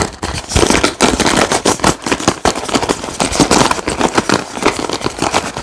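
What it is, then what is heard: Wooden paddle hairbrush with wooden pins. Fingertips and nails rapidly scratch and flick the many wooden bristle pins of a wooden paddle hairbrush, set in a white cushion and held close. A fast, dense stream of dry wooden clicks and crackles rattles on unevenly for the whole clip.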